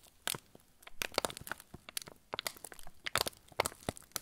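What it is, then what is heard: Crinkling plastic film of a cracker packet. Fingertips crush and crinkle the loose, crumpled end of a yellow plastic-film TUC cracker packet. A rapid, irregular series of sharp, bright crackles and crunches snaps out with almost no ring, over a quiet background with little low end.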